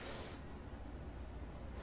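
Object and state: Nothing is struck.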